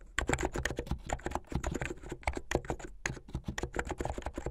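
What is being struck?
Plastic mechanical keyboard.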